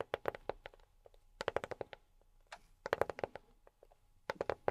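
A box is tapped with silicone rubber pads on the fingertips. Quick bursts of soft, dry taps with a muted mid-pitched knock come in irregular clusters with short pauses between them, and each tap dies away almost instantly.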